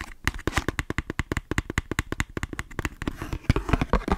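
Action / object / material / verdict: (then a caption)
tap / cardboard matchbox with matches / cardboard / none. Long nails tap rapidly on a small, hollow "Three Stars" cardboard matchbox holding matches, making about thirty quick, dry taps. Each tap is short and hollow, with a low thump and a light click that dies almost at once. Toward the end the taps crowd together into a faint rattle.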